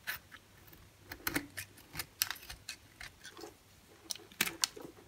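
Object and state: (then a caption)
Bar of soap being cut and scraped. A solid white bar soap held in the hand is cut and scraped with a utility-knife blade. About fourteen short, crisp, bright clicks and scrapes come in irregular bursts, each dying away almost instantly over a quiet background.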